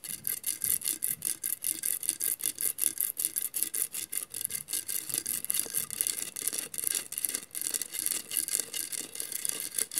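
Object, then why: Glass mosaic vase. Long matte nails are scratched across the tiles of a hollow glass mosaic vase. The result is a rapid, slightly uneven series of dry, bright scratching strokes, about two or three per second, with a hissy high edge, little low end and no ringing after each stroke.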